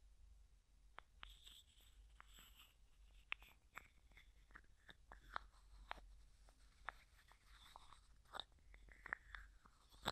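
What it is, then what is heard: Plastic screw-lid jar. A small, hollow, clear plastic cosmetic jar with a white plastic screw lid and a few small items inside is tapped, scratched and twisted by fingertips and nails. Quiet, dry clicks and crisp scratches come in an irregular run over a low steady hum, with brief bright ticks and gritty rasps that stop almost instantly.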